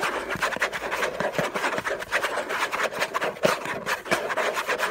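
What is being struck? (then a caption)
Rigid cardboard box. Fingernails scratch rapidly and hard over the logo area of a hollow, orange Hermès rigid cardboard box. The result is a dense, continuous raspy scraping with quick uneven strokes, mostly mid-range and bright, with almost no low end.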